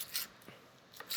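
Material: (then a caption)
Fried chicken. Crispy fried chicken is chopped into a Caesar salad on a cutting board, giving four sharp, bright crunches. The crisp crackle shows the chicken is properly fried and crispy.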